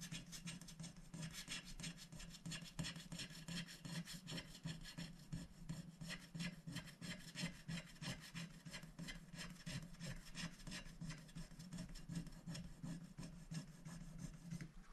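A wooden stylus scratches the black coating off a small shape on a scratch-art paper sticker sheet, which rests on a glass plate and is held by one hand. The sound is a continuous, rapid, slightly uneven run of dry, bright scratching strokes over a steady low hum.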